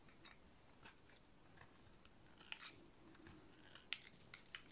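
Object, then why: Soap bar cut with a metal blade. A metal blade shaves a solid, white, rectangular bar of dry soap, curling off white shavings. Quiet, bright, crisp scraping crackles and sharp clicks come at irregular intervals over a low background hiss, with a few louder snaps toward the end.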